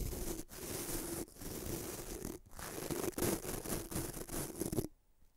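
A fingertip rubs and flicks the white nylon bristles of a small bamboo toothbrush held above a microphone. The result is a dense, continuous scratchy rustle with a faint steady tone around 370 Hz, broken by a few brief gaps. It cuts off abruptly near the end into near silence.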